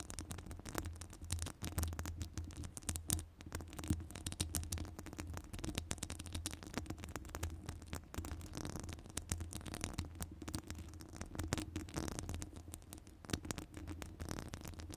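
Long nails scratch across the top of a hollow metal wire-mesh microphone grille, making a dense, steady stream of crackly scratches and quick bright ticks for the whole clip. A deep, boomy rumble sits under the scratching.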